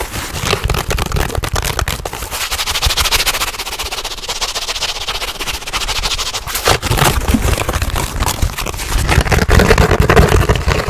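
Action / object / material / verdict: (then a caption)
scrape / black foam sheet / foam / none. A soft, solid dark gray or black foam block or sheet is held in both hands and scratched fast with fingernails. The result is a dense, continuous crackling scratch with a deep rumbling low end and a bright hiss on top. It eases slightly in the middle before picking up again with sharper bursts toward the end.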